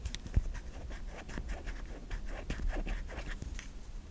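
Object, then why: Solid soap bar. Long nails scratch across the face and stamped logo of a white solid stamped bar of soap, producing a series of quiet, dry scraping strokes with brief bright rasps over a low, steady rumble.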